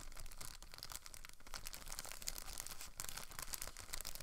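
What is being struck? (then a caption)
Thin plastic film bag. A thin clear plastic packaging bag holding a blue plastic rotor guard from a Protocol Slipstream quadcopter stunt drone is held and crinkled with fingertips and long nails. The film is rubbed and handled throughout, giving a steady, quiet crackling rustle with bright, crisp crinkles.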